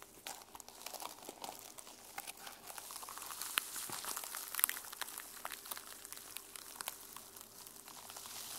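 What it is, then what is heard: Sequin-covered journal. Nails and fingertips scratch across the teal plastic sequin cover of a notebook held upright. The result is a quiet, steady, dense crinkling and rustling, bright and high-pitched, with little low end and many tiny ticks and clicks.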